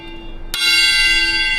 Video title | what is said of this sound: Mark Williams on the Rails - E05 - Carriage Kings | tapping the wheels and listening for a change of note that would tell you whether it was fractured or not